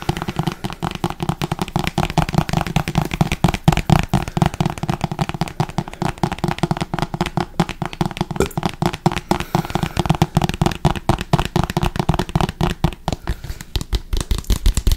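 A small Smucker's plastic squeeze bottle with a printed label, hollow and partly filled with dark syrup, is held in both hands and tapped and scratched with fingertips and nails. Rapid, dense, dry taps and crackly scratches continue throughout, with a hollow low thump around 156 Hz, little bright content, and no ringing after each hit.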